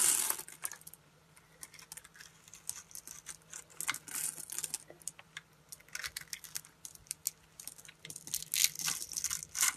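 A solid, hand-sized red translucent glycerin soap bar is held in the hand and scraped and cut with a metal utility blade, shaving off tiny crystalline cubes from the same bar throughout. The result is quiet, irregular bursts of bright, crisp scraping and crackling with many short, dry ticks and almost no low end.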